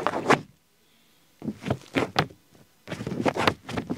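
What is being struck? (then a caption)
Ballpoint pen on paper pages. A ballpoint pen tip scribbles and scratches in small strokes on an open paper diary page dated 20 Sunday, resting on a flat stack of pages. The dry, papery scratching comes in short bursts separated by brief silent pauses.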